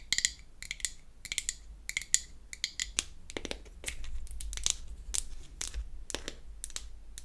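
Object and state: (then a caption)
Small painted wooden box tapped with fingernails. Long acrylic nails tap and scratch the lid and sides of a small, round, hollow, pink-painted wooden toy foundation compact held open in the hand. The sound is a quick series of sharp, bright, dry clicks mixed with short raspy scrapes that stop instantly with no ring, over a faint low hum.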